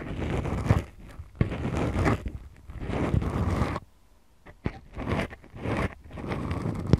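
Long acrylic nails scratch and squeeze the two small, soft, porous black foam windscreens on the mics of a Tascam DR-40X recorder. The result is deep, muffled, bass-heavy scratching and rustling that comes in slow swells, with a brief near-silent pause midway and a few sharp ticks.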